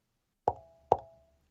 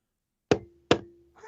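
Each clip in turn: First: metal streamer enclosure. Second: plastic streamer enclosure.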